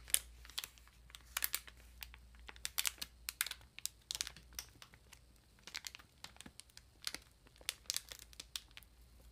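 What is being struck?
Ream of paper in plastic wrap.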